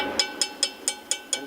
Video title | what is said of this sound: Part 9 Brake Adjustment | you can hear that hollow sound that means the shoes are up out of the way